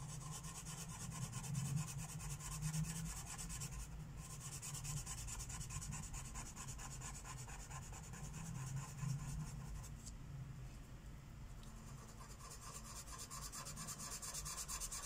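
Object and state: Marker rubbing on a coloring book page.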